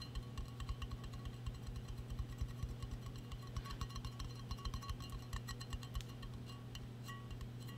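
A large hollow purple metal tumbler, possibly an insulated stainless steel drink bottle, is held in both hands and tapped and clinked with long painted acrylic nails. It gives a quick, irregular run of short, bright metallic clicks and pings with almost no ring. A steady low hum sits underneath.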